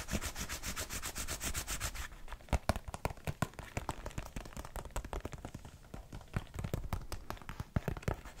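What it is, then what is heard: Leather baseball glove being rubbed. A large, open, hollow orange-brown leather baseball glove is held against the microphone and rubbed with fingertips and the palm. Fast, even brushing strokes give way after about two seconds to slower, irregular scratchy rubs and soft thumps with a deep, muffled low end.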